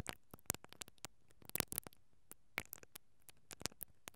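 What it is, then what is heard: Metal mesh microphone grille being brushed. A mascara brush with plastic bristles, held from above, is rubbed against the capsule of a hollow, perforated metal mesh microphone grille. It makes a quiet, uneven run of short, dry scratches and crackling ticks that stop sharply, with bright hiss on top and a faint low thump under each one.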